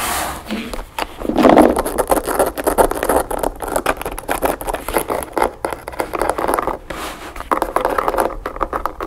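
Long nails scratch and tap quickly along the narrow edge of a closed map-print covered backgammon case with brass latches, held upright on a table. The result is a dense run of dry, fast taps and rasping scrapes, mostly midrange, with very little low end. Each tap dies away almost at once.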